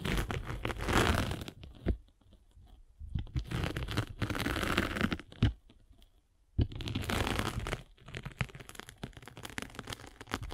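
A metal-spiked derma roller is rolled over a solid grey-and-blue abrasive foam sanding sponge block. It makes bursts of dense, crunchy, crackling scraping with a heavy low rumble, separated by short quiet pauses.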